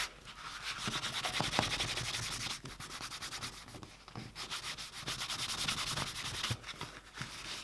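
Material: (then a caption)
Leather. A small, flat, empty dark-brown leather bifold wallet with white stitching lies on a cutting mat, held down by one hand while the other rubs its surface with a white cloth. Quick back-and-forth strokes make a continuous, bright, hissing friction sound in a steady rhythm, with a brief dip in loudness partway through before the buffing carries on.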